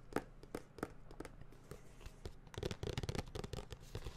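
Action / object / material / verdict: tap / cardboard tablet box / cardboard / none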